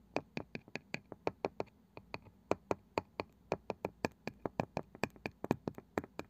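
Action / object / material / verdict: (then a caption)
tap / wooden object / wood / none. A wooden object is tapped in a quick, steady rhythm, about 30 sharp, dry taps over six seconds. Each tap is a brief click that dies away almost instantly, with a soft low hum underneath.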